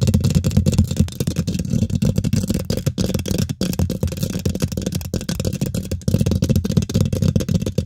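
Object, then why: Metal mesh microphone grille. Both hands use long nails and fingertips to quickly scratch and tap the domed, hollow woven metal mesh grille of a large silver condenser microphone. The result is a dense, continuous stream of rapid scratches and taps that sound boomy and low-heavy, with short dry clicks and almost no high end. It runs steadily for about eight seconds, with a brief dip partway through.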